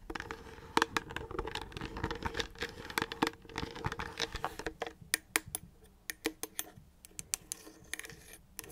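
An empty 1L clear plastic water bottle with a blue label and dark cap is held in both hands and turned while medium-length fingernails tap and scratch its hollow sides. The first half is a dense, crackly scratching with bright clicks. It thins into sparser, sharp, quickly fading taps with a light hollow resonance toward the end.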